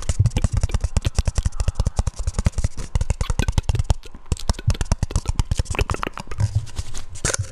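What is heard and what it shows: A round, hollow, palm-sized black plastic lid is held in both hands and tapped and scratched with fingertips and nails. It makes a fast, steady stream of dull, low, hollow thumps, each dying away almost instantly. Bright scratchy clicks run over the thumps.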